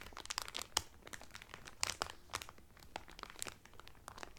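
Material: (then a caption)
Cellophane. Fingertips and nails crinkle the clear cellophane wrapper around a blue Carnival cotton towel folded flat. The result is a steady run of sharp, dry crackles and pops, mostly bright and high with little low end. Each crackle cuts off almost instantly, over a quiet background.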